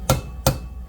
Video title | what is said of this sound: Step-By-Step Guide to Remove & Rebuild a 2004-08 Audi A4 2.0T Cylinder Head | You'll hear a positive sort of thud once it's down.